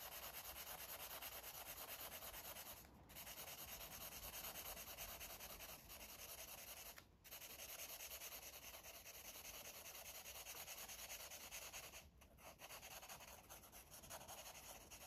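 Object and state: Felt-tip marker rubbing on paper.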